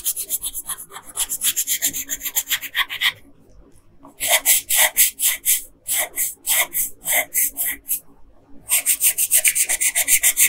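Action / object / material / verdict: scrape / paper coloring sheet with wooden colored pencil / paper / none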